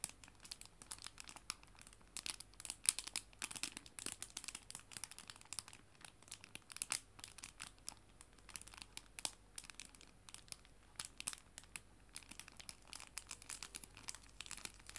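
A small clear plastic cellophane bag with paper art prints inside is held in both hands and crinkled by fingertips and nails. It makes a steady stream of quiet, bright, crisp crinkles and tiny sharp snaps that stop instantly, over a faint low hum.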